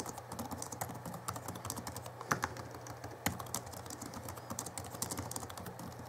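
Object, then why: Plastic laptop keyboard. Fingertips of both hands type fast on the backlit plastic keys of a small 2011 Alienware M11x2 laptop keyboard. The result is a quick, irregular stream of light, bright clicks over a steady low hum, with two louder clacks standing out near the middle.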